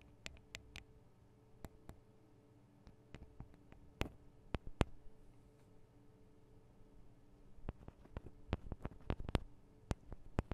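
Long acrylic nails on both hands tap the small hollow metal microphone capsules of a Tascam DR-40 recorder. Sharp, dry clicks and ticks come in loose, irregular bursts, dying away almost instantly, over a quiet low hum. The taps grow denser and louder near the end.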